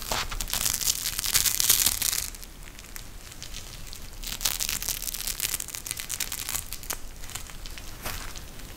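A pink gel bead eye mask, a clear plastic shell filled with gel beads and edged with fabric trim, is held, bent and squeezed in the hands. It gives bright, dense crinkling and crackling that is loudest in the first two seconds, then settles into quieter, irregular crinkles with a brief swell around the middle.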